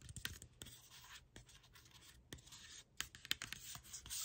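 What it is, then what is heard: Plastic drink bottle tapped and scratched with nails. A Chi Forest plastic sparkling water bottle, hollow and holding liquid, is held in the hand while long pink acrylic nails tap and scratch its label and sides. Quiet, bright scratching and rustling is broken by about fourteen short, sharp clicks and taps, with a little low thumping underneath.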